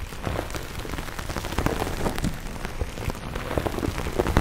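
Light fingernails scratch a hand-sized grey textured foam sponge, solid and porous, on a tan foam base held in both hands. It makes a steady, dense crackling patter weighted toward the low end, much like rain on a surface, with soft bursts that come and go.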